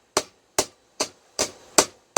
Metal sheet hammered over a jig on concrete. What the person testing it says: you can hear it hit the concrete and that's when you know you you've gotten home